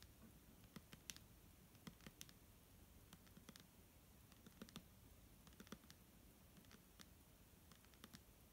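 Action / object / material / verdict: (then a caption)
tap / plastic bottle filled with liquid / plastic / none. Fingernails tap on a clear plastic micellar water bottle filled with liquid, making sharp, bright clicks in an irregular rhythm across the clip. Each tap is very short and dry over a soft, low background rumble, and the overall level stays quiet.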